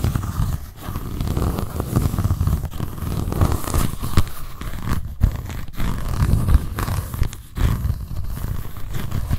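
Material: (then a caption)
Cardboard. Long nails scratch the solid, embossed cardboard cover and the page edge of a white paper notebook. The sound is a steady, dense rasping scrape, heavy in the lows, broken by a few brief gaps before it resumes.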